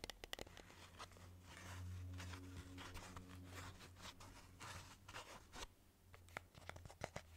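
Long fingernails scratch and tap the surface of a hard black and red moulded plastic costume mask with wire detailing, its hollow shell held in one hand. Dry, crinkly scratching strokes swell and fade in the middle, while sharp, quick taps click at the start and end. A steady low hum runs underneath throughout.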